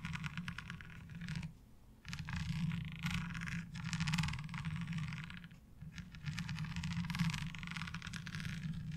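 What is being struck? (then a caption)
Ribbed plastic laundry washboard. Long almond-shaped nails tap and scratch along the ridges of a light blue, ribbed plastic laundry washboard that is flat and fairly thin and rests on a dark cloth. Bursts of rapid, rasping scratches with a bright, gritty texture sit over a steady low hum, broken by short quiet pauses.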